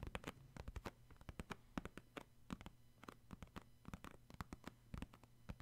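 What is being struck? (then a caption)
Cardboard tissue box. Fingertips and short nails tap rapidly on the top of a hollow purple cardboard Puffs tissue box that is holding tissues. The result is a quick, irregular patter of soft, dull taps, some with a sharper scratchy click, over a faint steady low hum.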